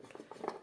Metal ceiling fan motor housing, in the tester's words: ഇപ്പോൾ തന്നെ ലൂസ് ആയിട്ടുണ്ട് സൗണ്ട് കേൾക്കാമല്ലോ